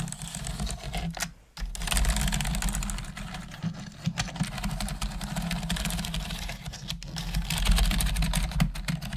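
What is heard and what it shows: A full-size black plastic computer keyboard with hollow plastic keys is typed on with long manicured nails and fingertips, giving sporadic, irregular clicking and tapping key presses. A steady low hum runs underneath, with a brief pause near the start before the typing resumes.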